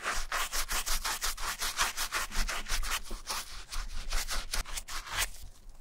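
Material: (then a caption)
Suede. A wooden bristle brush scrubs a foamy, wet grey suede and mesh Adidas Marathon running shoe across the heel and sides. Rapid back-and-forth strokes make a steady, bright, hissing scrub with a soft low rumble underneath, fading slightly toward the end.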